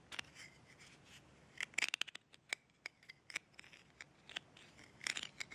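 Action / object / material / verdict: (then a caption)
tap / glass jar with metal screw lid / metal / none. Long red-painted nails scratch and tap the embossed gold metal screw lid of a small glass jar held in the hands, working across the lid's top and rim. Sharp, bright clicks and thin scratching sounds ring with a light metallic edge around 2.3 kHz. They come in irregular bursts over a quiet background.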